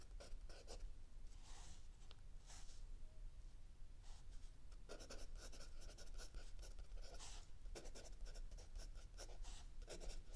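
A mechanical pencil writes continuously on a lined page of a spiral-bound notebook lying flat on a wooden table, while an open paperback book sits still under the other hand. Quiet, bright scratching strokes come in short bursts over a steady low rumble.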